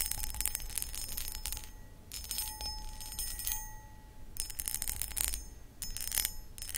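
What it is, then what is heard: Cut crystal footed bowl scratched and tapped. Long acrylic nails scratch and tap the textured sides of a hollow, empty, medium cut crystal glass footed pedestal bowl. Bursts of bright, high, rapid scratching and clicking come in clusters separated by brief quieter gaps, with a faint steady ringing tone underneath.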